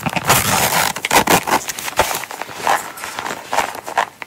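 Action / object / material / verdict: scrape / small coated-canvas zip wallet / coated canvas / none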